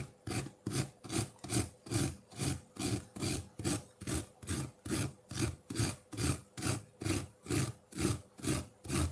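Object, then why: Ice block scraped with metal fork tines. Metal fork tines scrape and dig at a solid block of colored ice sitting in a ceramic bowl. The result is 21 rasping, gritty strokes in a steady rhythm of about two per second. Each stroke has a low, grinding body and a bright, scratchy edge.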